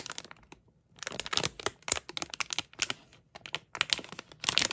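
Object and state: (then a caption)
Plastic foil bag crinkled. A small sealed, printed plastic-foil mystery bag filled with a toy is held in both hands and crinkled and scratched with long painted nails. Bursts of sharp, bright crinkling crackles and scratchy rustles come in quick clusters, separated by a brief quiet pause near the start. The sound is thin and high, with almost no low end.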